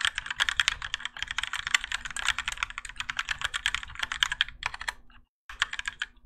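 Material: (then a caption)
ABS plastic. A Keychron K4 compact mechanical keyboard with Gateron Yellow switches, grey and orange ABS plastic keycaps and a plastic and metal case sits on a desk mat while both hands type continuously with their fingertips. Rapid, bright plastic clacks tumble over one another under a faint steady low hum. The typing stops briefly near the end, then resumes.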